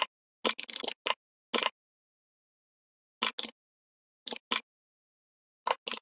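Fingertips of both hands type on a full-size, red-backlit plastic membrane gaming keyboard, tapping the keys. Short, bright, clacky key taps come in quick bursts and small clusters, separated by quiet pauses, with no low end and almost no ring after each stroke.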